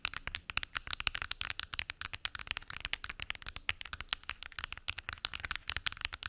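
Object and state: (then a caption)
Plastic pill organizer. Long acrylic nails tap rapidly on the lids of a large, hollow, translucent plastic weekly pill organizer with many small lidded compartments. About forty quick, dry, bright clicks sound with almost no ring, their energy mostly high with little low end.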